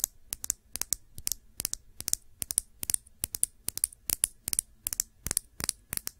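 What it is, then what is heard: Glass nail polish bottle. Long nails tap and scratch a small Sephora glass nail polish bottle with a black cap, filled with dark polish and held upright. The result is a quiet, rapid, irregular series of sharp, bright clicks and ticks that die away almost instantly, with faint scratchy texture between them.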